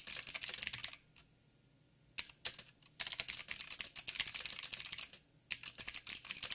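A backlit mechanical keyboard with black plastic keycaps on a silver frame and a hollow housing is typed on with the fingertips of both hands. Bursts of quick, bright, clicky taps are broken by short pauses. Each tap decays almost instantly.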